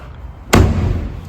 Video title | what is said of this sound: Ineos Grenadier - Best Off Roader Iv'e seen! | it sounds solid because this car is really solid